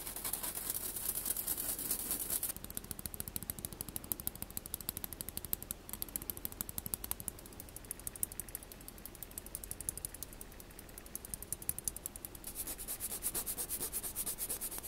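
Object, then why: Stainless steel wire-mesh strainer. Fingernails scratch and tap a hollow, bowl-shaped stainless steel wire-mesh skimmer with a metal rim. A dense, hissy scratching opens the clip, then gives way to a long run of quick, dry ticking taps with a ratchet-like texture. Bright scratching returns at the end.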